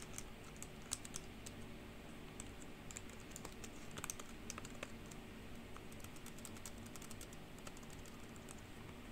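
Long pink acrylic nails and fingertips type and tap on a black plastic full-size computer keyboard with white-lettered, hollow keys over a solid base. The result is a quiet, steady stream of short, bright clacks and ticks over a low, constant hum.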